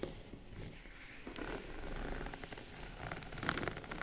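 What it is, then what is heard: Faux leather zippered case. Long acrylic nails scratch and tap the top and sides of a small, boxy, tan faux-leather case that is hollow, closed, and zipped all around. Quiet, rough scratching rustles along the surface, swelling slightly, then a few sharper, brighter clicking taps stand out near the end.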